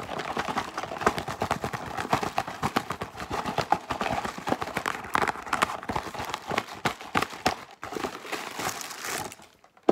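Long pink nails tap and scratch fast along the sides of a yellow Wheat Thins cardboard cracker box with an open top and an inner bag. The result is a dense, rapid run of dry clicks and scratchy, crinkly rasps, mostly in the midrange with little low end. The pace stays busy throughout, thinning briefly near the end before a final sharp tap.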